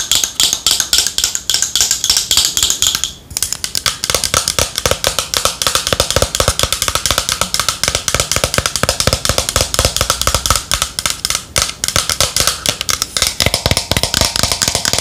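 Long nails rapidly tap the body of a hollow, yellow matte plastic Boscia cylindrical bottle with cap, held in the hands. The quick, bright, clicky taps carry mostly high frequencies and die away almost instantly. They run nearly continuously, with a brief pause around the three-second mark.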